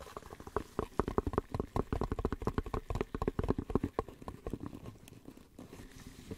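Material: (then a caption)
Cardboard. A small, hollow white cardboard soap box is held in gloved hands and scratched and tapped with gloved fingertips. A rapid run of short, dry, muffled taps and scratchy brushes sounds with a hollow, papery body. The tapping is busiest and loudest early on, then thins into softer scratching toward the end.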